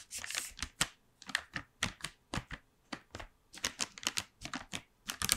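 Long nails tap a gold plastic blister tray full of chocolates, set in a white cardboard frame and held in the hand. The result is a quick, uneven run of sharp, bright plastic clicks that stop dead with no ring, separated by short silences.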